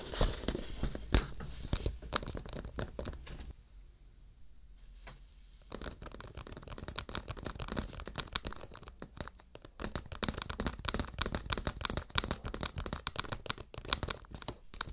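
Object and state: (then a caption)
Cardboard tissue box. A printed cardboard tissue box, hollow and apparently full, is held upright in both hands while fingertips and nails tap and scratch its surface. Dense, rapid crackly taps and scrapes carry a bright edge and a low thump. They ease into a quieter stretch around four to six seconds, then return busy and steady to the end.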